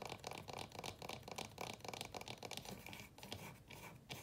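Fingernails scratch and rub across the wooden top and frame of a small wooden chest of drawers with painted ceramic drawer fronts. The result is a quiet run of brisk, dry, papery scratches with a bright high-frequency hiss.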